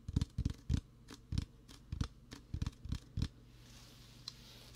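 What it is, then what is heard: Plastic soda bottle. A large green Mountain Dew PET plastic bottle with a plastic label is held next to the mic and tapped and scratched with fingertips and nails. Short, dull, low thumps come in an uneven run with faint scratchy clicks between them, then fade to a quiet hiss with one last soft tick.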